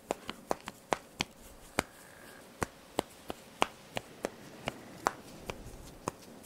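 Fingernails and fingertips quickly pluck and scratch the black elastic straps of a top. Each one gives a sharp, dry, bright snap with almost no ring, spaced irregularly over a faint fabric rustle. There are 18 of them.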